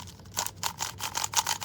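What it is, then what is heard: Hollow-sounding plastic speedcube. A new, not-yet-set-up GuoGuan YueXiao EDM plastic 3x3 speedcube, which is very light, is given its first turns. The turns make a series of quick, dry, high-pitched plastic clicks and rattles. The turning sounds hollow.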